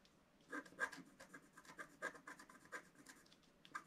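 A wooden stylus scratches around a reindeer design on a black wax-coated scratch art sheet lying flat. Quiet, dry, irregular scratchy strokes come in short bursts with a faint squeaky tone near 1.6 kHz and bright hiss. Each stroke stops almost at once, with no ring.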